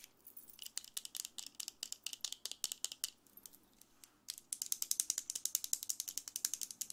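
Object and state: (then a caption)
Plastic vent hairbrush. A handheld blue plastic vent hairbrush with a hollow slotted head, dark plastic bristles and a yellow/chrome handle has its bristles scratched and flicked by long red acrylic nails. The result is a rapid, bright ratcheting clatter of dry clicks. A short lull comes near the four-second mark, then a denser, louder run of clicks.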